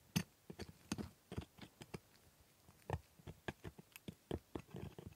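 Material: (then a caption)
Hard plastic. A metal scaler scrapes along the hard plastic teeth of a plastic typodont dental model while a gloved hand holds the model steady. About nineteen short, quiet scraping clicks come at an uneven pace, each with a low body and a bright tick on top. Each one dies away at once, with no ring.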